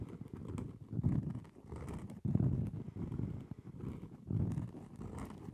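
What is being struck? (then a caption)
Round cork trivet. Long nails tap and scratch the surface of a round, solid cork trivet held in both hands close to the mic. The result is a soft, muffled run of dull, low thuds and scratching with almost no bright edge, swelling into three louder bursts along the way.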